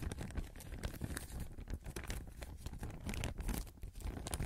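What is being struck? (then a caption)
Thin plastic bag. A thin clear plastic (vinyl) bag is held in both hands in front of the microphone and crinkled, stretched and rustled with the fingers. The result is a quiet, continuous stream of dense crackling and crinkling with a heavy low-end rumble, flecked with short, brighter crackles.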